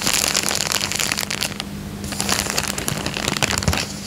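Fingertips scratch and crinkle the surface of a thin, clear, empty printed plastic coin bag resting on a fabric couch. Dense, bright crackling and rustling comes in rapid bursts, briefly easing into a softer lull near the middle before picking up again. A faint steady low hum sits underneath throughout.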